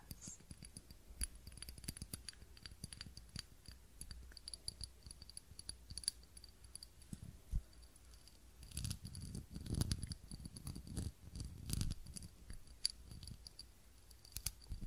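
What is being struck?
Small ribbed glass candle holder.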